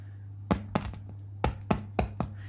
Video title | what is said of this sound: PAIN MAISON A LA COCOTTE - CUISINE AVEC MOI FACILE | si ça sonne creux, c'est qu'il est bien cuit